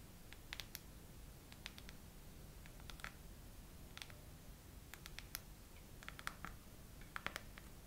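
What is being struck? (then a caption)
Clear plastic phone case with raised heart bumps. A hand with long nails slowly taps and scratches over rows of raised bubble hearts on a clear plastic phone case fitted on a phone in a tripod holder. Quiet, sharp, bright plastic clicks and light scrapes come in scattered clusters with very short decay, over a steady low background rumble.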